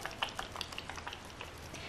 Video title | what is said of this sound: IL MAKIAGE Woke up like this Foundation Review | When you shake this bottle up, you see how you can hear that liquid? So when you pump it on the back of your hand, it runs really, really fast